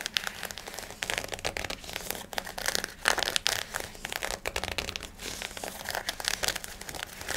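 Fingertips and nails scratch and rub a black cotton fabric garment, likely shorts with a waistband, working over both the fabric and the waistband. The result is a dense run of dry, bright crinkling scratches with quick pauses in between. There is little low end.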